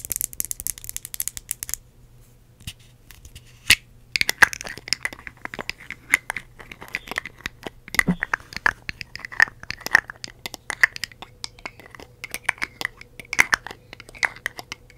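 A red glass perfume bottle with a metal cap, containing liquid, is tapped with long acrylic nails on both the cap and the glass. Rapid, sharp, clicky taps with a bright, glassy ring near 1.8 kHz come in dense bursts, broken by a short quiet gap early on. Each tap dies away almost instantly over a faint steady low hum.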